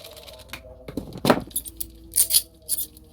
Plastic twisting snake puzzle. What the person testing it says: kalau digoyang gini aja udah cuma di dalamnya doang gitu jadi dia tuh nggak longgar gitu teksturnya itu jatuh padat